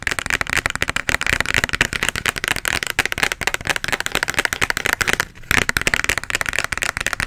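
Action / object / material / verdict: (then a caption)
tap / small plastic bottle partly filled with liquid / plastic / none. A small plastic bottle, partly full of red liquid and with a white label, is held close to the microphone and tapped and scratched with long nails. Rapid, dense, crisp clicks and scratchy rustles continue throughout, bright with a concentrated mid-high tone. The sound stops briefly just after five seconds, then resumes.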